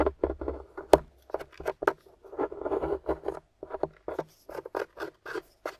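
A grey solid plaster dig-kit block rests on a table, held by a hand with long nails while a wooden stick scratches and chips at the crumbly plaster. Short, dry scraping and crumbling bursts come in quick irregular clusters, mostly low-mid with a few bright crackly flicks, and die away almost instantly.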